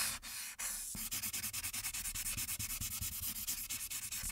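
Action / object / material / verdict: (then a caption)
scrape / felt marker on a paper sheet / paper / none. A light-blue marker tip rubs in quick back-and-forth coloring strokes across the top background of a printed paper coloring sheet lying flat. The result is a bright, hissy scratching with a faint low thump on each stroke, settling into a steady rhythm of about 32 short strokes after a few longer rubs at the start.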